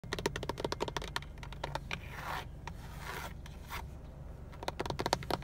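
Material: Plastic.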